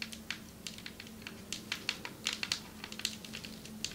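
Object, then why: Marble table top. Long metallic nails tap on a marble table top in quick, irregular succession, giving sharp, crisp clicks. Each bright tap dies away almost at once over a faint, steady low hum.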